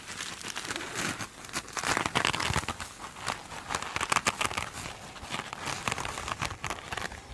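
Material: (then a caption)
Foam. Long acrylic nails scratch a small glitter-coated foam sponge with a sparkly scrubby surface while it is held and squeezed on a table. The result is a dense run of bright, crinkly, crackling scrapes and short crunchy bursts, with very little low end.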